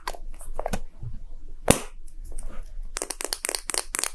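A small, hollow red and white plastic gacha capsule shaped like a Poke Ball is held and tapped roughly with fingertips and short nails. It gives a run of quick, dry, crinkly clicks and taps, with one sharper crack partway through. The taps come faster and brighter toward the end, and each one dies away almost instantly.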